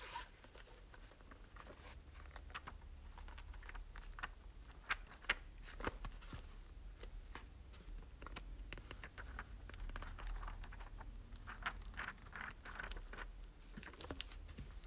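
A small old red hardcover book is opened and its yellowed paper pages are flipped and riffled with the thumb and fingertips. The result is a quiet, steady run of crisp, dry papery ticks and soft rustles, with brief sharper snaps over a low, constant hum.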